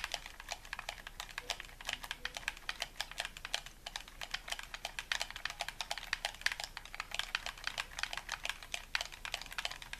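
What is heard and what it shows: A hollow white plastic gamepad held in both hands is tapped rapidly with thumbs and fingertips on its buttons, and one hand lets go near the end. The result is a steady stream of short, dry, bright plastic clicks, centered around 1.7 kHz, with almost no ring or low end. It sounds much like fast keyboard typing.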